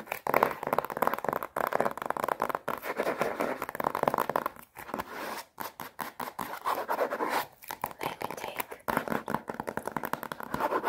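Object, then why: Watercolour paper block sealed in thin plastic film. A rectangular watercolour paper block, a solid stack of paper sealed in thin plastic film and held upright in both hands, is tapped and scratched on its crinkly wrapped front cover by long painted nails. Dense, rapid crinkling scratches and taps run almost continuously, broken by a few brief pauses.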